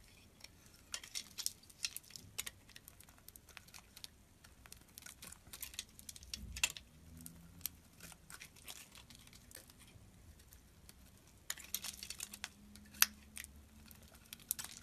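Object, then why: Soap bar shaved with a metal blade. A solid white bar of soap is held in the hand and shaved with a metal utility blade. Quiet, bright, crisp scraping and crinkling strokes come in uneven clusters over a faint low hum, with a few sharper ticks standing out.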